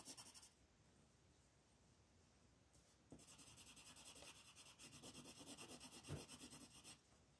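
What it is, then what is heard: Colored pencil shading on paper. A wooden ochre colored pencil scratches in dense shading strokes across a flat paper coloring page, with the other hand's fingertips resting on the page. A brief burst of scratching gives way to near silence, then a steady run of quick, rhythmic back-and-forth strokes follows, about three per second. The strokes make a bright, gritty rasp that stops abruptly near the end.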